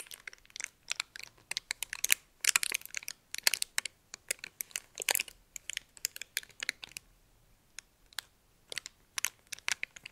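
A small, thin, crumpled red metallic foil wrapper is held in both hands while fingertips and nails crinkle and rub it. Sharp, bright crackles and rustles come in quick irregular bursts, with dense clusters and brief pauses, with no low end and almost no ring after each crinkle.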